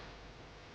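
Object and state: Nothing is struck.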